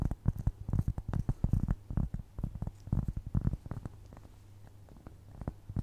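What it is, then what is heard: Cork trivet scratched with nails. A solid, round, flat cork trivet is scratched with long nails close to the microphone. Quick, dry scratching strokes follow one another in dense bursts with a soft, muffled low-end thump. The sound fades to a faint hush near the end before a few last scratches return.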